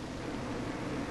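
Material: Nothing is struck.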